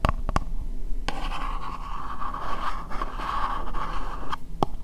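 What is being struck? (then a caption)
Upturned plastic bowl. Fingernails scratch and tap the sides of an empty, hollow, translucent pink plastic bowl held upside down. A steady, rasping scratch centered around 1 kHz runs over a low rumble, with a few sharp taps at the start and near the end.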